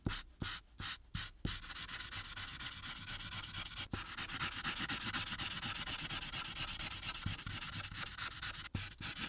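The felt tip of a blue marker rubs in rapid back-and-forth strokes over the background of a thin white paper coloring sheet resting on a dark board. It makes a bright, papery scratching hiss that pulses with each stroke, starting in a few short bursts before settling into a steady, fast rhythm broken by a couple of brief ticks.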